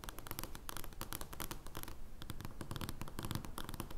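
Long dark-painted fingernails scratch and tap an oversized, thin paper joker playing card lying on a wooden table. Dense, irregular bursts of dry, papery scratching and light tapping run throughout, with bright crackly edges over a soft low thump, and a brief quieter pause near the middle.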